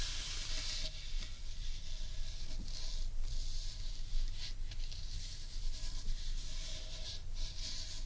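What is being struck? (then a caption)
Large carved wooden bowl. Long painted nails scratch across the grainy wood on the underside of a large hollow carved wooden bowl. A steady, dry rasping hiss rises in bright bursts with each stroke over a constant low rumble.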